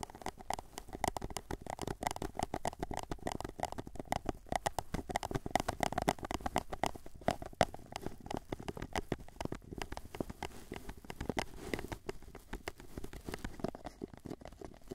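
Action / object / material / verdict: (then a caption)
tap / small paper cup / paper / none. Fingertips and nails rapidly tap the sides of a small, hollow, empty white paper cup held upright in both hands. The result is a dense, continuous patter of quiet, dry clicks with a hollow, mid-pitched resonance around 690 Hz that dies away almost instantly after each tap. It keeps going for the full fifteen seconds.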